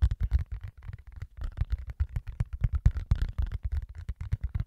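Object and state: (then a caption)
Rubber mouse pad. A large, flexible black rubber mouse pad printed with keyboard shortcuts is held in both hands close to the mic and scratched and tapped with the fingertips. About two dozen quick, dull, low thumps come in a rapid, uneven rhythm, each dying away almost at once, with a faint scratchy rustle between them.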